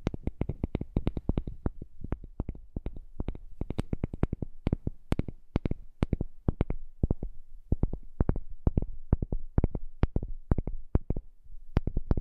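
A heart-shaped piece of wood is tapped rapidly and steadily for about twelve seconds. Each tap is short, dull and knocking, with most of its energy low and a little high click on top, leaving almost no ring between taps.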